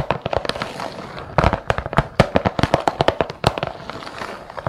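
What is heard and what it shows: Long nails and fingertips tap the lid of a round, clear plastic bead organizer with many compartments, closed and filled with assorted glass and metal beads. A rapid, irregular run of short, sharp, clicky taps is heard, densest and loudest in the middle and lighter at the start and end. The loose beads may rattle faintly along with the taps.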